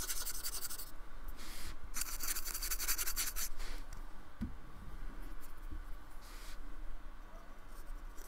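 A paintbrush is stroked and scratched across a small, flat, solid slab of white polystyrene foam with a painted, textured surface, lying on a wooden table. Bursts of bright, dry, scratchy brushing come in uneven strokes, loudest in the first few seconds. Quieter stretches between them hold only a faint low rumble.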